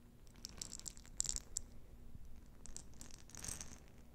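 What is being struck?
Jar of small plastic beads.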